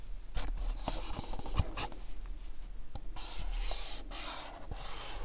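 Fingertips and nails rub and scratch the surfaces of a small, dark, printed cardboard candle box held in the hands. The result is a continuous dry, papery scratching with bright, hissy bursts and a few soft taps over a steady low hum.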